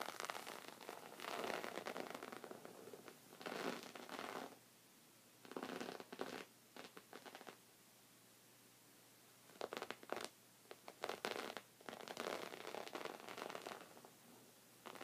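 Long red-painted nails scratch the top of a soft, thick, folded white woven rug with both hands. Bursts of dry, raspy scratching and rustling come in uneven clusters, separated by quiet gaps.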